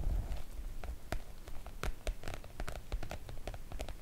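Long coral nails tap and scratch the coated surface of a floral PVC-coated oilcloth make-up bag with both hands. Quick, irregular crisp clicks and short scratchy brushes rise over a low, dull rumble. Each tap dies away almost at once.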